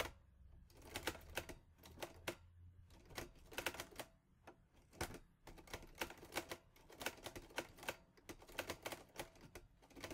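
Fingertips type on the keys of a mint-green Olivetti Lettera 22 portable manual typewriter with a metal body and paper loaded. Bursts of sharp, bright metallic clacks come in quick runs with brief pauses, each strike dying away almost instantly.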